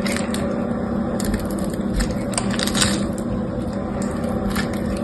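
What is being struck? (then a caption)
Solid soap bar cut and scraped with a knife. A utility knife cuts a grid of small cubes into the surface of a solid white bar of soap held in the hand, then scrapes the cubes off. The result is a steady run of crunchy, crackling cuts with brief bright clicks over a dense, low-heavy texture.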